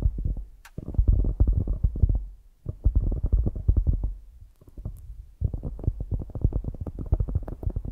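Long grey acrylic nails tap and scratch a solid, soft polyurethane foam squishy donut toy. The result is dense bursts of rapid, muffled, deep thumping and rubbing with almost no brightness, broken by brief quieter pauses.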